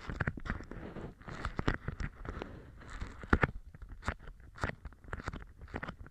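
A large, thin, pale-green beeswax-coated cotton food wrap with a honeycomb print is held up in the air by both hands with red polished nails and formed into a stiff open tube. The fingers squeeze and flex the waxed fabric, producing a steady run of quick, dry, crinkly rustles and crackles with short, sharp bursts. No other object is touched.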